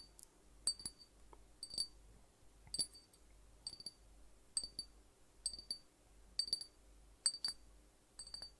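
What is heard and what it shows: Fingertips tap around the neck and cap of a small, hollow glass drink bottle with an orange-yellow label, partly filled with liquid. Nine quick clusters of light, bright clinks ring out at a high pitch and die away almost at once, over a faint low hum.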